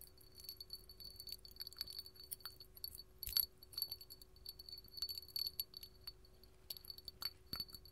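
A small, hollow, empty clear hobnail glass candle holder is held in the hand and tapped with long gold metal filigree finger claws. Many quick, light, bright clicks and clinks come in irregular flurries, each dying away almost at once with no lingering ring. A faint steady hum sits underneath.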